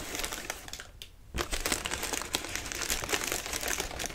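Fingertips scratch and squeeze the crinkly sides of a partly expanded, hollow lime-green tissue paper lantern. The result is a dense, bright crinkling and crackling that pauses briefly near the one-second mark, then returns louder and continues steadily to the end.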